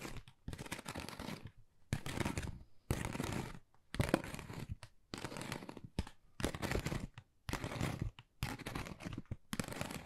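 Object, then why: Pebble-textured cardboard folder. Long nails scratch across a thin, hollow, flat pale pink pebble-textured cardboard Dior folder. Repeated bursts of dry, crackling scratching and rasping fill the high range, each stroke separated by brief silences. A hollow, papery rumble sits underneath.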